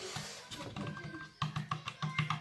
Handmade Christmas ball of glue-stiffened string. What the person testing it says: Ça sonne creux, mais il est sec.